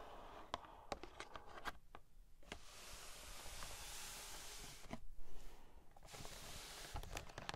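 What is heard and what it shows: Long nails rapidly tap the front and sides of a hollow, medium-sized pink printed cardboard toy packaging box with a plastic window, held in both hands. Sharp, dry clicks ring briefly over a low, dull hollow thud, with a soft, bright rustling hiss filling the middle of the clip between the taps.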